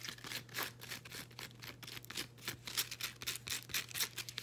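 A folded blue woven elastic fabric resistance band is scratched with long green acrylic nails. Quick, uneven, bright and raspy scratching strokes repeat at about four per second, with a faint steady low hum underneath.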